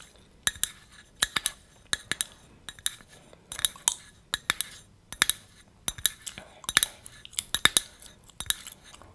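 A small hollow cylindrical copper-colored metal tea tin, held in both hands, is tapped with long red nails. The result is a run of quick, bright metallic clinks with very short ring and little low end.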